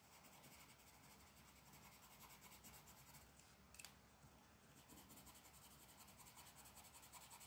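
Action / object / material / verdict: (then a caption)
scrape / colored pencil rubbing on a paper sheet / paper / none. A lavender colored pencil rubs and shades a flat paper mandala coloring sheet resting on a wooden table, with long black nails near the surface. It makes a steady, soft, scratchy rubbing with a bright hiss and rhythmic strokes, and a brief sharper scrape comes in just before the midpoint.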